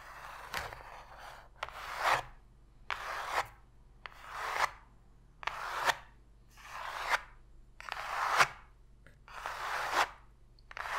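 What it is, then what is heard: Cardboard box scratched with fingernails. Long pink fingernails scratch the floor of an empty, open white cardboard box tray, producing eight rhythmic, bright, raspy strokes that each swell to a sharp peak, with a few sparse taps in between. The strokes sound dry and papery with a hollow quality, separated by brief quiet gaps.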